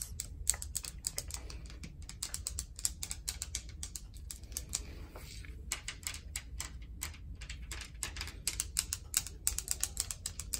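Long acrylic nails rapidly tap and scratch a large, solid slab of speckled grey granite bathroom countertop with a tile backsplash. Dense bursts of sharp, bright clicks with almost no ring are heard over a steady low rumble.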